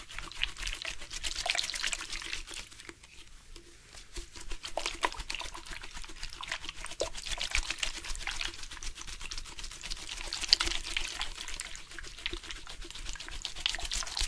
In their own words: Water sounds from purposeful shaking of the drink bottle.